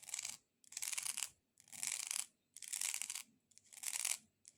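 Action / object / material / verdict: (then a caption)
scrape / dried decorative corn cob / dried corn / none. A multicolored decorative corn cob is tapped and scratched with long nails. Bright, dry clicking and scratching come in repeated bursts of under a second, separated by short silences, with almost all the energy in the high frequencies.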